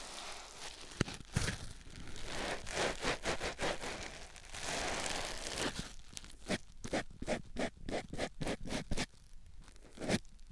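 A white rectangular foam sponge block, held in the fingertips, is rubbed and scratched against a silicone ear microphone. Close, crunchy rustling and scratching fill the clip, mixing longer steady rubbing passages with quick, sharp strokes that grow more distinct toward the end.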